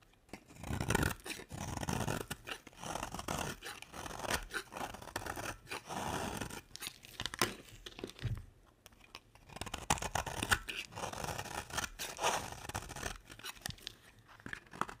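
A square, solid beige bar of dry soap is held in the hand and shaved with a box-cutter blade. Repeated dry, crunchy scraping and cutting strokes come in bursts separated by short pauses, with a quieter stretch around the middle. Thin curls of soap are pared away with a gritty, bright rasp.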